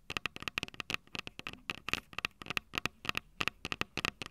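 Long purple nails tap and scratch the two metal mic capsule heads of a small Tascam DR-05 handheld recorder with a plastic body. About 21 sharp, bright clicks come in an uneven, rapid rhythm, each dying away almost instantly. A faint scratchy texture sits between the taps, with a ringing tone near 2.6 kHz.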